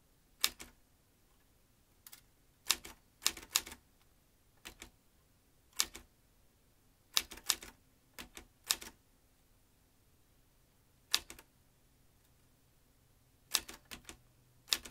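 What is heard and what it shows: Fingertips type on the keys of a vintage metal manual typewriter, swinging its typebars. Sharp, bright metallic clacks come in irregular bursts and short runs separated by quiet pauses. Each strike dies away almost instantly.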